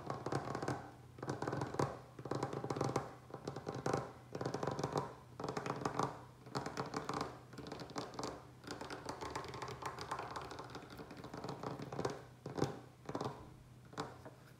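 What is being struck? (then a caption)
Wooden tabletop. Fingertips and nails of both hands scratch and tap across the surface of a large solid wooden tabletop. The result is irregular, close bursts of dry scraping and quick taps with short, damped decays, over a faint steady low hum.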